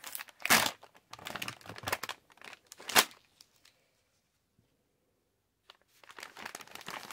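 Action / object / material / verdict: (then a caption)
scrape / plastic candy pouch / plastic / none. Hands stretch and pull the top edge of a yellow Halls plastic candy pouch, then crinkle and squeeze its body. Bursts of crisp, bright plastic crackling come in uneven waves, with two sharper crunches standing out. A nearly silent gap of about two seconds follows before the crinkling resumes.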